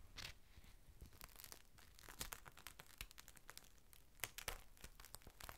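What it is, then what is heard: Clear plastic rain cover. A thin, clear plastic rain cover is opened out flat while fingertips lift and crinkle its edges. The result is a quiet, steady, dry crackling and rustling with many short, sharp, bright crinkles and no ring. Louder bursts of crinkling come near the middle and toward the end.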